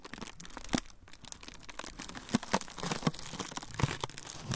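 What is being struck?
Thin frosted plastic sheet.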